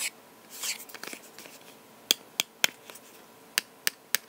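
A box is tapped with the fingers. Soft brushing and faint clicks come first, followed by bright, dry, short taps with no ring, arriving in two evenly spaced groups of three.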